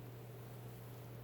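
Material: Nothing is struck.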